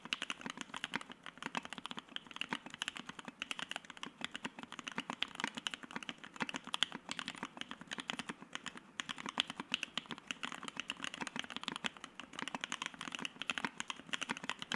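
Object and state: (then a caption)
Mechanical keyboard with PBT keycaps. A white Keycult No.1/60 60% mechanical keyboard with Soho switches, an FR-4 plate and PBT keycaps is typed on continuously with the fingertips of both hands. The result is a steady, rapid stream of short, dry, bright clacks with almost no low end and no ring after each keystroke.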